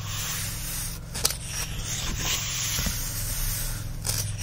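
Fingertips rub and scratch across the printed paper pages of an open paperback-style book lying on a fluffy blanket, producing a steady, bright, dry scraping hiss. A few sharper scratches stand out briefly over a constant low hum underneath.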